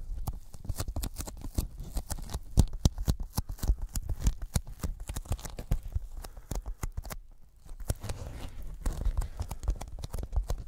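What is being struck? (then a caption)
Thin polyethylene foam sheet. Fingertips rapidly tap a thin white closed-cell polyethylene foam sheet held in both hands over the microphones, peeling off after each tap with a sticky sound. The taps are soft, dull and heavy in the low end, with short crackly peels, and come in a dense, steady stream. They pause briefly just past the seven-second mark, then resume.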